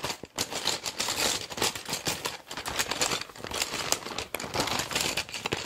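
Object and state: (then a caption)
Clear PVC pencil case full of pens. A small, clear PVC zip pencil case packed full of plastic pens, pencils and markers is squeezed and shaken by a hand with long dark nails. The pens clatter and rattle against each other while the vinyl crinkles, making a dense, bright stream of quick clicks and rustles over the whole clip.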